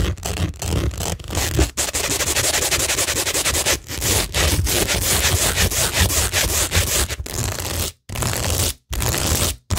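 Long nails rub and scratch across a flat, solid framed tingle board covered in rhinestone mesh and pearl stickers on cork. The result is a steady, dense, bright scratchy rasp with a low rumbling body, broken by brief dips and a few short silent pauses near the end.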